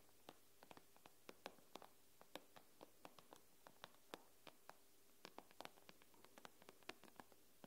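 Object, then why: Glass tablet screen. Long nails tap and scratch on the glass screen of an iPad, with clustered fingertips. About 33 short, sharp clicks ring out at irregular intervals, each dying away almost instantly. They sit over a quiet, steady low hum, with faint scratchy brushing between the taps.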